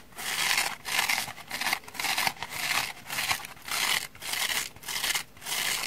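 Long manicured nails scratch the porous orange foam face of a dry kitchen sponge held in both hands, with its black scouring pad layer behind and another black sponge piece resting untouched further back. Repeated dry, rasping strokes come in rhythmic bursts of bright hiss, with almost no low end and no ring between strokes.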